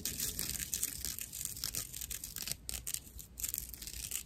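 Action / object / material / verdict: scrape / natural loofah sponge / plant fibre / none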